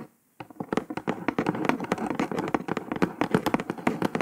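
Long nails on several fingers tap rapidly on the top of a brown kraft cardboard box. After a brief silence, a dense, continuous run of dry, short clicking taps follows, each with a hollow low-mid thump and almost no ring.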